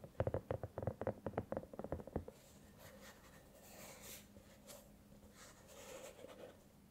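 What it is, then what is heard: Silicone cat night lamp. Long nails tap quickly on a hollow, soft silicone cat-shaped night lamp glowing purple, blue and cyan, giving about 14 dull, muffled taps over the first two seconds. The nails then scratch the silicone surface, making a quieter, soft, brushing sound for the rest of the clip.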